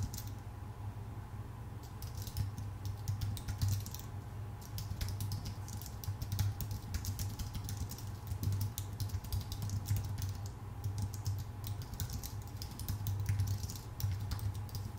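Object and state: Aluminum and plastic computer keyboard.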